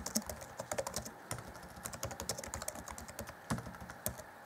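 Both hands type rapidly on the black plastic chiclet keys set in the grey deck of a 2014 Acer Chromebook C20 laptop keyboard. Fingertips tap and press the keys in a fast, uneven stream of short, dry clicks with bright tops and a light low thud.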